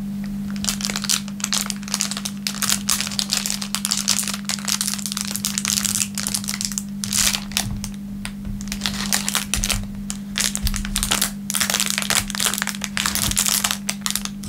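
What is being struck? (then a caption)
Thin plastic film wrapper. A thin clear plastic film wrapper is rubbed with the fingertips on a wooden table, then held up and crinkled between the fingers. It makes a dense, continuous crackle of bright, sharp crinkles with quick bursts and brief pauses. A steady low hum near 200 Hz runs underneath throughout.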